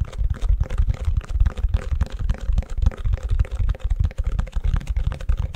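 Fingertips and nails tap and scratch the back of the cells of a long, empty white plastic ice cube tray held upside down. The result is a steady, irregular patter of soft, hollow, low taps and short scratches with almost no high-end brightness and a faint mid-range tone.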